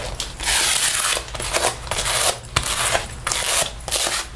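A sticky paper lint roller is rolled across the chest and down the sleeve of a black faux leather jacket being worn. Repeated bursts of rolling and rubbing carry a bright, crackling hiss as the adhesive peels off the synthetic leather.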